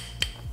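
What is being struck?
Thin glass sample sheet.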